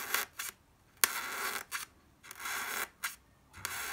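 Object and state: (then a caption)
Styrofoam block. A sharp wooden pencil tip pokes and taps into a white solid styrofoam block near its edge, moving toward the top of the block by the end. It makes a series of dry, bright, squeaky scratches and scrapes with sharp onsets. Some bursts are brief and others drag on for about half a second, with no low-end body and quiet gaps between them.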